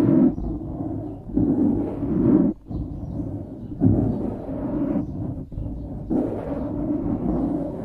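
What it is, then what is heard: Foam microphone windscreen being scratched. Fingertips and nails scratch the sides of a dark grey foam windscreen on a studio microphone. The result is a dense, low-to-mid scratching rumble in uneven bursts with brief quieter gaps, dull with no high end.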